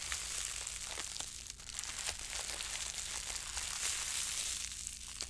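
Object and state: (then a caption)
Crumpled plastic cling wrap. A fist-sized, loosely balled wad of clear plastic cling film, soft and hollow with air pockets, is held in both hands and squeezed, crumpled and rubbed with the fingertips and long acrylic French-tip nails. It makes a steady, bright, dense crinkling full of sharp little crackles, over a faint low hum.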